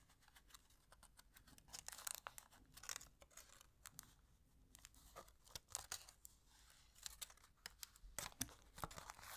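A small, thin, empty orange-and-silver aluminium foil wrapper from a chocolate egg is held in both hands and crinkled and folded with the fingertips and long nails. Quiet, bright crinkles and sharp crackles come in irregular bursts, some louder than others. The texture stays thin and papery, with almost no low end.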